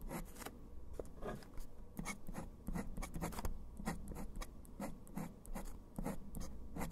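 A metal dip pen nib scratches across a flat sheet of pale textured writing paper, writing the letters TENET, ASMR and THAN in dark ink. Quiet, short, bright scratchy strokes come in quick bursts over a steady low hum, each stroke stopping almost at once.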